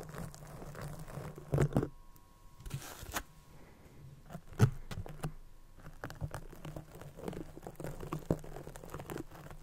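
Fingers squeeze and rub the feather skirt of a small white feather shuttlecock with a cork base, held close to the mic. Soft, dry crinkling and scratchy rustles come in quick bursts over a low steady hum, with a few sharper crunches standing out.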